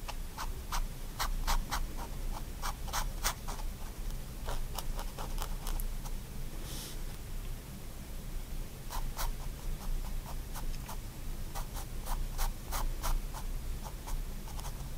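A fine-tip pigment liner pen draws lines in short strokes across the thin, flat sheet of a spiral-bound white paper sketchbook lying on a wooden desk. Quick, bright scratching strokes come in bursts over a steady low hum, with a brief softer rubbing pass in the middle.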